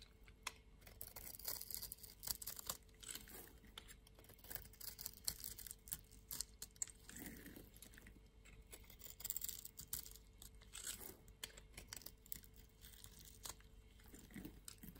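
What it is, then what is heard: Bar of soap being scraped and cut with a blade. A steel utility blade scrapes and cuts cubed shavings off the surface of a solid pink and white striped bar of soap held in the palm. The result is a quiet, dense run of bright, crisp scraping and crackling ticks that die away instantly, with occasional softer, lower rasping strokes over a faint, steady low hum.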